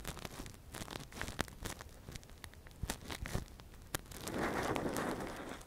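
A gloved hand scratches and probes inside the hollow ear canal of a soft, translucent, hand-sized silicone ear model (a binaural microphone cover) with a thin metal earpick. Close, crackly scratching and crinkling is broken by sharp, bright clicks and taps, then swells near the end into a denser, sustained rustling wash.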